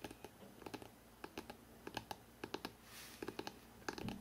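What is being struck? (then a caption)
Hardcover book spine. Fingertips tap rapidly along the spine of a hardcover book, producing about twenty short, dry clicks with a hollow knock around 320 Hz and bright ticks on top. The taps come in quick irregular bursts, with a soft breathy swell of noise near the three-second mark. Each tap dies away almost at once over a quiet background.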